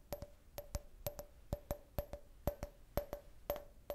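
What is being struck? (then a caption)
Glass drinking cup. An empty, clear glass drinking glass shaped like a beer can, with a printed logo, is held in the hand and tapped with long nails and fingertips. Sixteen quick, sharp clicks fall in pairs at a steady pace, each with a brief high glassy ring.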